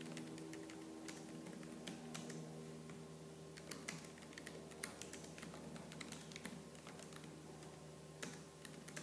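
Fingertips with purple-painted nails type fast on the black plastic keys of a laptop keyboard. The result is a quick, continuous stream of light, clicky taps with sharper bright clacks standing out here and there, over a faint steady low hum.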